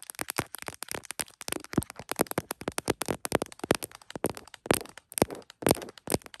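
Long acrylic nails rapidly tap and scratch the back and camera bump of an iPhone Pro in a printed smiley-face hard plastic case, the recording phone itself, mounted on a tripod clip. Some forty sharp, dry plastic clicks and ticks come in an uneven stream, each dying almost instantly, with bright scratchy edges between them.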